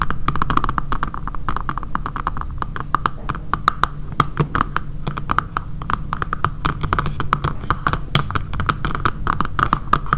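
Long dark painted nails rapidly tap and scratch across the back of a dark grey matte plastic phone case with a camera cutout, lying flat on a table and likely fitted on a phone. Dozens of short, dry clicks with a hollow plastic tone near 1.2 kHz run steadily throughout, with soft scratching and a low, muffled rumble underneath.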